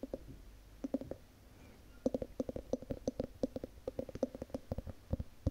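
Long nails tap and scratch the ribbed glass lid of a large wax-filled Yankee Candle jar. A few quick taps are followed by a brief pause, then a steady run of short, clicky taps, each with a faint glassy ring around 530 Hz that dies away almost at once.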